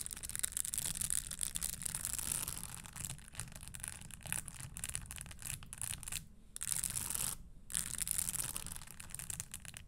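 Long nails tap and scratch the studded upper of a red spiked leather Christian Louboutin stiletto pump resting on a wooden table. The result is a dense stream of quick, bright clicks and scrapes over a low rumble, broken by two brief near-silent pauses before the tapping resumes.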